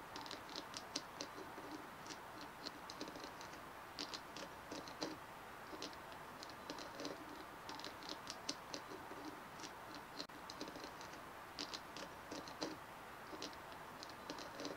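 Both hands tap and scratch a white, fist-sized bumpy plastic ball resting on a wooden table, using medium-length manicured fingernails and fingertips; the ball looks light and possibly foam-like. Quiet, rapid, irregular clicks and bright, high ticks patter over a soft scratchy hiss, with a faint hollow body near 290 Hz. Each tap dies away almost instantly.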